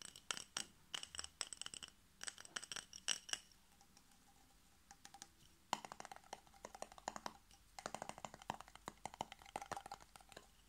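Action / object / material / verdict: tap / glass jar with metal screw lid / glass / none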